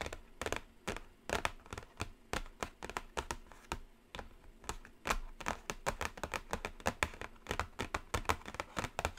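Long acrylic nails tap quickly and continuously across the top edge and lid of a flat, closed black cardboard Carnival eyeshadow palette box. The result is a steady run of dry, clicky taps with a bright edge and a faint hollow low thump, each dying away almost instantly. The taps vary in loudness, with some light and some sharper.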